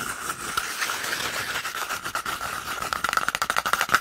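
An empty, hollow, hand-sized brown cardboard toilet paper roll tube is held in one hand and scratched and rubbed along its surface with the fingertips and nails of the other hand. A dry, raspy scratching with a hollow ring near 1.4 kHz and bright high hiss runs steadily, then breaks into quicker, sharper scratches over the last second.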